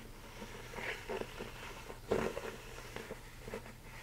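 Fingertips and nails tap and scratch the inner wall and rolled rim of a large, empty, hollow mixing bowl, most likely plastic, held upright in both hands. Soft, hollow taps with a dull tone around 440 Hz mix with light scratchy rustling over a steady low hum, with one louder tap standing out near the middle. Each tap dies away quickly.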